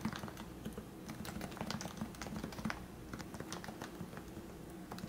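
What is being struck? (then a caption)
Plastic Topre keyboard. Fingertips type steadily on the keycaps of a lubricated plastic Leopold FC660C Topre keyboard with 45g switches. The rapid, continuous keystrokes sound soft and muffled, with rounded low thocks and only faint bright clicks at the top.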